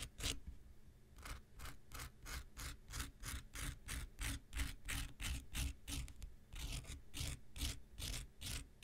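A handheld pink rectangular nail buffer block, solid foam with an abrasive surface, is scraped along its top with an X-Acto knife blade. Quick, slightly uneven strokes, about three per second, each make a short, bright, rasping scratch. A low rumble runs underneath the whole time.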